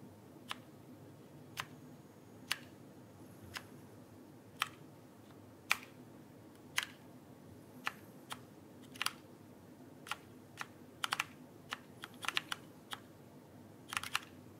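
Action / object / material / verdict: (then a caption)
tap / plastic mechanical keyboard keys / plastic / none. A backlit plastic mechanical keyboard is held upright while fingertips slowly press its plastic keys. Short, sharp, bright clicks centered around 2.4 kHz come at irregular intervals and die away almost instantly. Some land in quick clusters over a quiet, steady low background.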